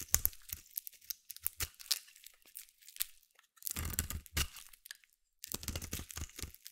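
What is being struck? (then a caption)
Bar of soap cut with a small blade. A small metal blade carves flaky white shavings from one end of a palm-sized solid white bar of soap held in the hand. The result is a quick run of crisp, crunchy scraping cuts, bright and papery with a soft low thud under each stroke. A brief pause comes just after the five-second mark before the carving resumes.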